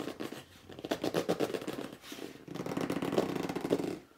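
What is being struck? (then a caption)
Corrugated cardboard box. Fingertips and short nails scratch and grip the front edge and top of a hollow red corrugated cardboard box lying flat, in quick strokes. Rapid, uneven scratching and squeaky rubbing fill the clip in two bursts, with a brief lull near the middle, the sound centered in a warm midrange with little deep rumble.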